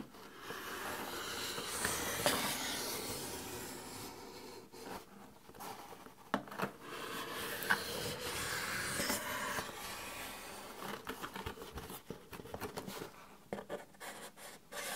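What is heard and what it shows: The tip of a black-handled knife scratches and pokes along the surface of a long, narrow, hollow corrugated cardboard box held upright in the hands. Dry, rasping scratches fill the clip, broken by sharp, short taps with a bright, hollow edge and a quick decay.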